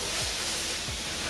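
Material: Nothing is struck.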